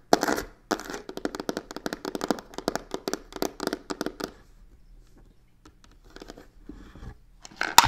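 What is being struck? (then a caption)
Faux leather covered box. Fingertips and nails grip the narrow face of a hollow black croc-textured faux leather box with stitched edges, tapping and scratching it. Quick, crisp taps and rasping scratches come in a dense run for about four seconds, then thin out into quieter, sparser scrapes before a final louder burst.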